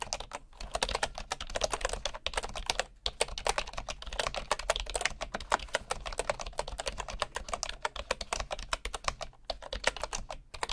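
Both hands type with their fingertips on the wooden keys of a bamboo keyboard, producing a fast, steady stream of short, dry clicks and taps with a bright edge. The typing runs almost continuously over a faint low hum, broken only by a few brief pauses.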